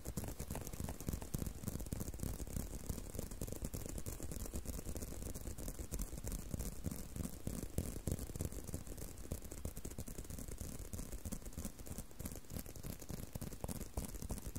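A leather belt is tapped and handled in quick, uneven succession, producing a steady stream of soft, dull taps with light rattling over the whole clip. The sound is mostly low and thuddy, each tap dying away almost at once, with no speech.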